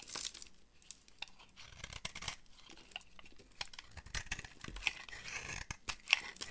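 A solid, dry lilac bar soap held in the palm is carved and scraped with a utility knife blade, and brittle flakes break off. Bright, crisp scraping and crunching sounds come in uneven bursts, with short crackling snaps and no ringing after them.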